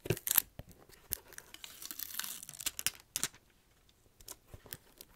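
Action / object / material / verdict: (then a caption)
scrape / rubber shoe sole tread / rubber / none. A fingernail scratches along the tread grooves of the rubber sole on a black slipper shoe with a red plaid side, the sole facing close in. The result is quick, bright, dry scratches and rasps in uneven bursts, with a longer rough drag in the middle and lighter scrapes toward the end.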